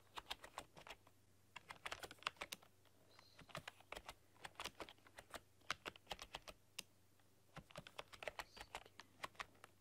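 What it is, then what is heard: Plastic computer keyboard being typed on. Long dark-polished nails and fingertips type on a full-size plastic computer keyboard with black keycaps and a rainbow RGB backlight, pressing and clicking the keys. About 45 short, sharp, bright clicks come in quick bursts with brief pauses, each dying away almost instantly over a faint steady low hum.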